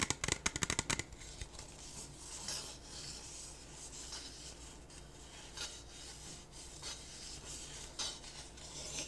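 A small, hollow, empty clear disposable plastic cup is held in both hands and tapped and rubbed with fingertips and nails. A rapid burst of sharp, clicky taps opens the clip, then gives way to a steady, soft, bright rubbing and scratching with occasional louder scrapes.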